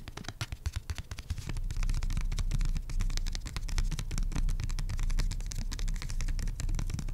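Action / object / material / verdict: scrape / printed cardboard coaster / pulpboard / none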